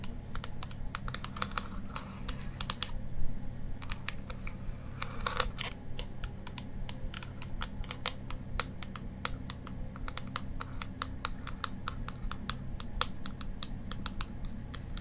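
Long green acrylic nails tap quickly on a closed black plastic Kat Von D Shade+Light eyeshadow palette with embossed lettering, flat and hollow with pans inside, held in one hand. The result is a rapid stream of sharp, short, typing-like clicks over a steady low hum.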